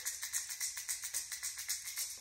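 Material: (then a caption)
Plastic. A plastic Strike King Red Eye Shad lipless crankbait is shaken, its many internal BBs rattling inside the body. The result is a bright, high-pitched, maraca-like rattle in quick, evenly spaced bursts with almost no low end.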